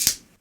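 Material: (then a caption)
Glass. A plastic glow stick is bent so the glass tube inside breaks, giving a single sharp, bright snap that fades within a fraction of a second. The snap signals that the inner tube has broken so the chemicals can mix.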